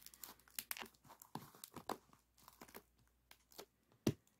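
Fingertips and nails scratch and squeeze a hollow, partly compressed silver aluminum foil flexible duct with a wire spiral. The ribbed foil gives off a quiet, irregular run of crinkling, tearing-like rustles and short crunches, with bright hiss above low thumps and one louder crackle near the end.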